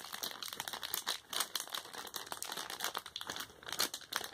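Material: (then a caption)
Plastic film. An empty, thin, flexible printed plastic bag from a Popin Cookin gummy candy kit, about A5 size, is held in both hands and crinkled and flexed with the fingertips. The result is a continuous stream of bright, dry crinkling and crackling with rapid overlapping snaps, almost no low end, and brief dips in loudness between bursts.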